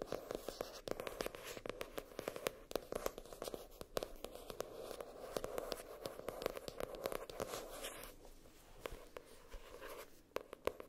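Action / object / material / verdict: scrape / hardcover spiral notebook, cardboard cover / cardboard / none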